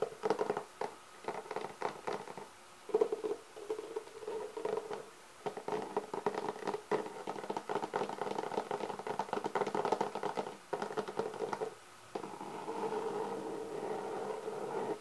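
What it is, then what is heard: Textured hard clarinet case, tapped and scratched. Fingertips and nails tap and scratch the pebble-textured surface of a black, leather-textured hard-shell clarinet case, held hollow in front of the body. The result is a steady patter of quick, dry taps mixed with soft scratching, with a hollow mid-range resonance around 450 Hz and little low or high content.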